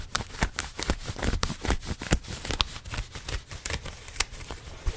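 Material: Denim.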